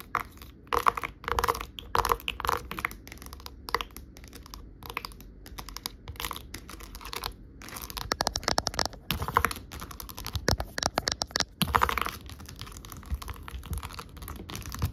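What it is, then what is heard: Plastic dome bubble tray. Long acrylic nails tap and scratch across a large white plastic tray with rows of hollow half-sphere domes. The result is a dense run of quick, hollow plastic clicks with a bright edge, mixed with dry scraping. Each tap dies away almost instantly.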